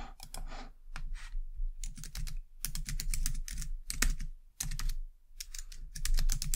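Two hands with long dark-painted nails type continuously on a white low-profile plastic computer keyboard. Rapid bright clicking keystrokes come in bursts with brief pauses, over a steady low hum.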